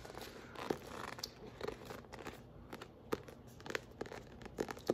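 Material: Paper.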